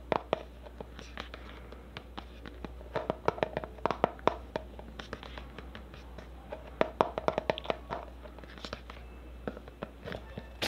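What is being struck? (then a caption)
Plastic cosmetic tub. A black plastic cosmetic tub with a label, held in one hand, is tapped and scratched with long nails on its lid and side. The result is a rapid, irregular series of short, dry clicks and taps with scratchy rubbing between them, centered around a mid pitch near 650 Hz, with each hit dying away almost instantly.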